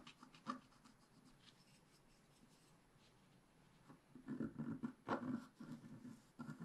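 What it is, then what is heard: Scratch-art paper page. A wooden stick scratches the mane area of a black-coated scratch-art paper page held flat by hand. A few short, soft scratches are followed by a quiet stretch, then a run of louder, raspy scratching strokes with a low-mid body.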